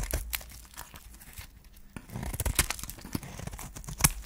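A flat metal blade scrapes and cuts a solid, white, dry soap bar with a pink wrapper edge, held in the hand, shaving it into flakes. Dry, crisp scraping and crunching comes in short, tearing-like bursts with a bright edge, growing busier after the first two seconds. A sharper, louder crunch lands near the end.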